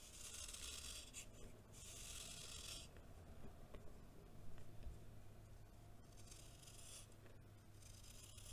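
A solid block of packed baking soda, held in one hand, is shaved with a green knife blade, and powder scrapes off in a rasping scratch. Bright, gritty strokes come in bursts over a steady low hum, with quieter stretches between them.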